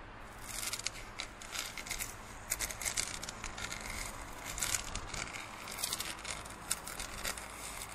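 A large, hollow, empty printed plastic drinking cup is scratched with fingernails, then tilted and held by the rim. Bright, dry scratching and crinkling come in uneven bursts over a faint, steady low hum.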